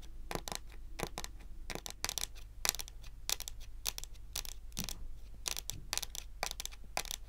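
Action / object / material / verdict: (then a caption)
tap / wooden table top / wood / none. Long pointed acrylic nails on both hands tap across the large, solid, glossy dark brown wooden top of a table. A steady run of sharp, dry, bright clicks sounds with almost no ring, over a low, constant hum.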